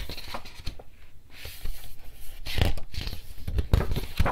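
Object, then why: Paper picture book. Fingertips quickly pick up and turn the paper pages of a softcover, animal-illustrated children's picture book held in hand over a table. The result is a steady run of crisp flipping and rustling paper sounds, with soft low thumps and brighter bursts of rustle as the pages fall.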